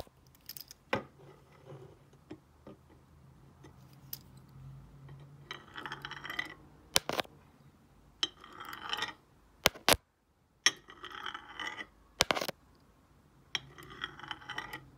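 A stone face roller is rolled over the smooth glazed surface of a solid, square ceramic tile with a glossy night-sky painting, lying flat on a desk. Several bursts of bright, gritty rolling friction alternate with sharp clicks and taps. The sound is quiet overall, and each click dies away almost instantly.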